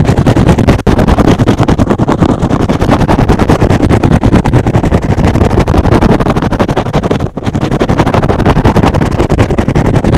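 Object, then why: Synthetic foam sponge. A soft, porous, hand-sized rectangular green and blue synthetic foam sponge is held in one hand and scratched fast on top with fingertips and short nails. It makes a dense, steady stream of rapid, rough scratching with a heavy low, muffled rumble and little brightness. The scratching drops out only briefly around 0.8 and 7.3 seconds.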